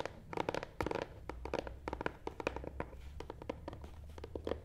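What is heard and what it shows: Fingernail tips scratch and tap the front side of a long, hollow, black matte cardboard box resting on a table. Quick, dry taps land in uneven bursts over a soft scratching texture, each with a hollow midrange knock that dies away almost at once. A faint low hum runs steadily underneath.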